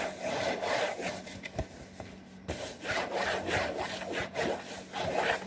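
Fingertips and nails scratch the back and front panels of a hollow, printed cardboard saltine cracker box. The result is a quiet run of uneven, raspy rubbing strokes in bursts, broken by three sharp clicks.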